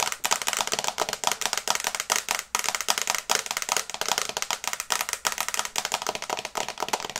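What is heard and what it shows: Long red nails tap fast on the glass screen of a small, flat smartphone in a teal and brown case held in both hands. The result is a rapid, uneven stream of sharp, dry clicks that are bright and crisp, with almost no low end and no ring after each tap.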